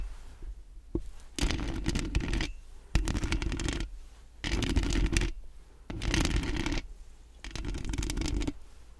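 Long acrylic nails rapidly scratch and tap the hollow metal mesh grille of a large round microphone. The sound comes in five dense, rasping bursts of about a second each, separated by short quieter gaps. Each burst has a strong low thumping rumble under a bright, crackling scratch texture.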